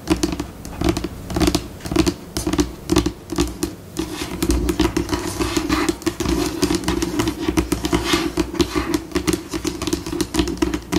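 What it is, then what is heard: Laminate table top tapped and scratched with nails. Long pink acrylic nails on both hands tap and scratch a flat, white, solid laminate tabletop. Short, dry clicks alternate with bursts of bright scratching and scurrying, and the pace shifts between slow, spaced taps and quicker runs. Each hit dies out almost at once, with a steady low hum underneath.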